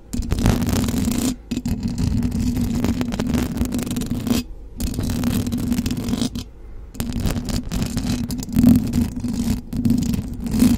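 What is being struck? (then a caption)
Metal mesh microphone grille. Long blue acrylic nails on both hands scratch the hollow metal mesh grille of a silver condenser microphone. The result is a dense, continuous raspy scraping with a steady low buzzing tone, broken by a few brief pauses, and it swells louder near the end.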